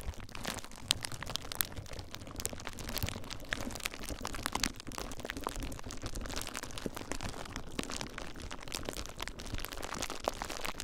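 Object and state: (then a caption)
Plastic bubble wrap. Fingertips with short nails squeeze and pop the air-filled bubbles of clear plastic bubble wrap bundled around a recorder. A steady stream of sharp, bright crackles and snapping pops rides over a dense, low crinkling rumble for the whole clip.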